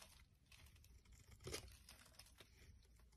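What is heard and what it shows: A metal blade scrapes flakes off a solid green-and-white bar of soap held in the palm. It makes a quiet, continuous run of dry, crinkly scraping with a bright hiss and a soft low rumble underneath. One louder, sharper scrape stands out about halfway through.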